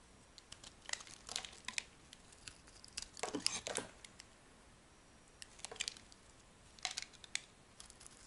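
A metal blade carves smooth, curling slices from a hand-held, rectangular, solid white bar of dry, soft soap. Short bursts of bright, crisp scraping and crinkly shaving come in clusters, separated by near-silent pauses, with little low end.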